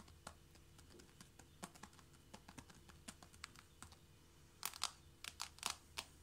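Long nails on both hands tap quickly on the boards of a flat wooden or laminate floor, just in front of a knit mat. About twenty dry, bright clicks land in a loose, rapid patter with no ring, over a faint low hum. The taps grow louder and denser in the last couple of seconds.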